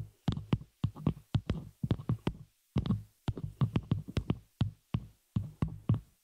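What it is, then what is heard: Metal microphone shock mount tapped with nails. Long nails of both hands tap and scratch the hollow, open frame of a small metal spider-cage shock mount holding a microphone. Rapid, closely spaced taps come in short bursts separated by brief pauses, each a dull, low, thumping knock with a faint bright click on top that dies away almost at once.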